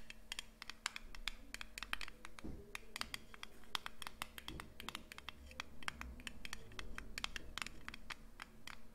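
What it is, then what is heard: Metal cream tin. A small round blue Nivea cream tin with a lid, likely aluminium, is held in both hands near the microphone and scratched and tapped with long painted nails. The result is a quick, irregular stream of dozens of sharp, bright metallic clicks and scratchy rasps that stop almost instantly, over a low steady hum.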